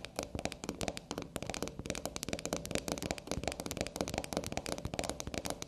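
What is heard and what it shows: Long black nails tap rapidly on the top and edges of a small solid black soap bar standing on a table. The result is a dense, continuous flurry of crisp, dry clicks with a bright, crackly edge, each tap dying away almost instantly.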